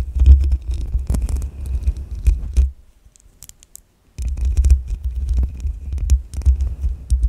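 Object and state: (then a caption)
Metal mesh microphone grille being brushed. A makeup brush sweeps across the side of the hollow metal mesh grille of a black USB microphone while the other hand rests on the grille. It produces a dense, low, rumbling scratchy brushing with sharp crackly flecks. The sound drops to near silence for about a second and a half, then resumes just as strongly.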